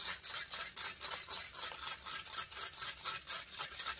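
Long fingernails scratch across the hollow metal mesh grille of a silver condenser microphone in fourteen quick, rhythmic strokes. Each stroke gives a bright, hissy rasp with almost no low end, and the scratching stays steady and dense throughout.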